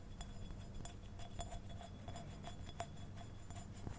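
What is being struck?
Small glazed ceramic figurine.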